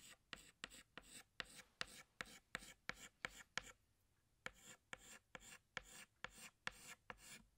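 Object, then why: Chalk stick on a blackboard. A pink chalk stick held in the fingers retraces a flower outline on a flat black chalkboard with 18 short, bright, scratchy rubbing strokes. A brief pause comes midway before the strokes resume, and each scrape is dry and grainy, with almost no low end and no ring after it.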